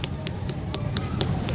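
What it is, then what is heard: Ripe watermelon. A ripe watermelon with a dry stem, a large yellow spot, a sticky spot, and a rind neither too soft nor too hard is tapped by hand in a quick, even series. Each tap gives a solid, deep thud with a short bright click, not a hollow sound, over a steady low rumble. The solid sound marks the melon as red and sweet, which is confirmed when it is cut open and found just perfect.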